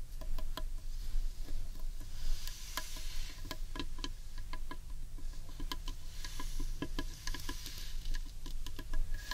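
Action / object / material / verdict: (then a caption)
tap / carved wooden bowl / wood / none. Long painted nails tap the underside of a large, hollow, carved wooden bowl. The result is a quick, irregular patter of short, dry clicks with bright edges that die away almost instantly, over a steady low rumble.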